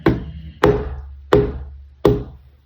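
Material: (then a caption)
Canvas. A stretched canvas on a wooden frame, its back sprayed with water to tighten it, is flicked four times and gives four short, drum-like thumps, each with a low body, a tone near 414 Hz and a quick decay. The drum-like sound shows the canvas is tight and ready for an acrylic pour.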